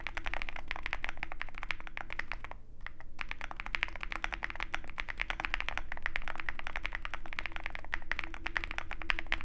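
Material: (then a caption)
Metal, plastic. Fingertips of both hands type rapidly on a compact 65% Zoom65 mechanical keyboard with a dark metal case and white and black plastic keycaps. The result is a dense, steady stream of short, crisp clacking key taps centered around 1.75 kHz over a low hum, with a brief pause partway through.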